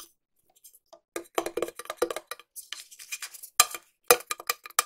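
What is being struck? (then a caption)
Small metal tin. A small, hollow, cylindrical silver metal tin is held in one hand and tapped on its side and lid with long nails. Quick, dry, clicky taps in an irregular rhythm sound bright and tinny, with a light metallic ring around 490 Hz. The taps start sparse and build to denser runs, with a few sharper, louder strikes near the end.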